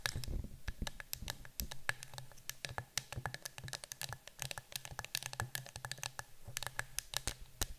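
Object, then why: Cardboard canister. Long nails tap and scratch the side of a yellow cylindrical citronella canister that appears to be cardboard, standing on a table. Quick, dry, bright clicks and taps come in an irregular, rapid stream, mixed with scratchy rustling over a steady low hum. Each tap dies away almost at once.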